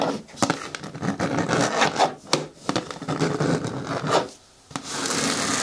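Long nails scratch and rub across the top and edge of a green hard plastic bin lid, producing a dry, raspy scraping broken by sharp clicks. The scratching briefly drops to near silence, then returns as a steady, bright rasp.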